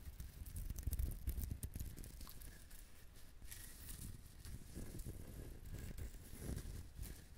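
A whole brown husked coconut with a fibrous shell is held in hand while fingernails scratch and tap the shell. The result is a quiet, irregular run of dry, crinkly scratching and soft, dull taps with very short decay, weighted heavily toward low thuds with faint bright scratchy edges.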